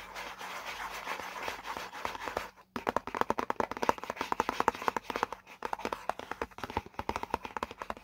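Fingertips tap and scratch rapidly on the printed panel of a hollow white paperboard product box. A soft, continuous scratching opens the clip, then breaks off into a brief silence. It is followed by quick, dry, hollow taps with a mid-range tone that die away almost instantly.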